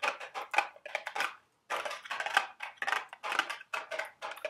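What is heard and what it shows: Long, sharp red nails tap and scratch the printed sides of a small cardboard Dubble Bubble gum Easter eggs candy box held in the hands. Quick, dry, papery clicks and scrapes come in irregular bursts, brief pause partway through, with a crisp midrange and bright edge and almost no low end.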